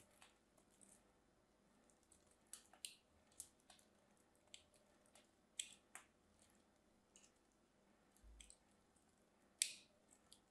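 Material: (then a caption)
Soap. A solid orange bar soap, held in hands with short blue nails, has its edge cut and scraped with a small craft knife, curling off orange shavings. Quiet, bright crisp clicks and scratchy scrapes come at irregular intervals over a faint background, each short and dry with almost no ring.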